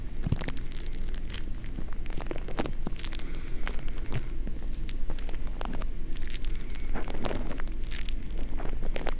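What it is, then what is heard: Foam-bead slime (floam) being kneaded. A small lump of green crunchy foam-bead slime (floam), soft and solid, is kneaded and squished with the fingers right beside the mic. Dense, bead-popping crackles run without a break over a steady low rumble.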